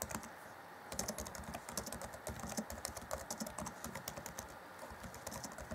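Fingertips of both hands type on the black plastic chiclet keys of a 2014 Acer Chromebook C20 laptop keyboard. A quick, steady stream of light, bright clicks and soft clacks follows a brief pause after the first taps. Each key tap dies away almost at once.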